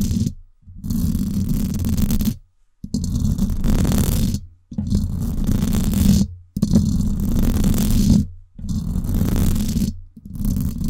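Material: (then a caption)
Metal mesh. Long acrylic nails scratch the hollow, silver woven-wire dome grille of a Blue Yeti microphone in repeated bursts separated by brief silent pauses. Each burst is a dense, low, rumbling scrape with a buzzy tone near 200 Hz, plus a fainter bright hiss above it.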